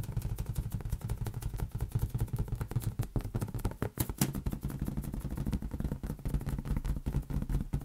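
A large, hollow, air-filled green latex rubber balloon is tapped rapidly with fingertips and palm. The steady stream of quick taps produces soft, boomy thumps concentrated in the low range, with a hollow resonance around 137 Hz and occasional brighter slaps. Each tap dies away almost at once, so the sound is a dense, drumming patter rather than ringing tones.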